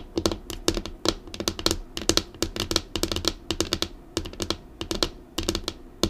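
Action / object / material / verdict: tap / laminated desk tabletop / laminate / none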